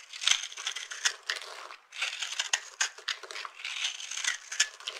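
A knife blade scrapes and cuts across the top of a solid rectangular bar of dry purple soap, held in one hand, with a dark, glitter-covered cut surface, crunching off small soap flakes. Dense, bright, crisp crunching and crackling scrapes come in rapid bursts with no low end, pausing briefly near the two-second mark before continuing.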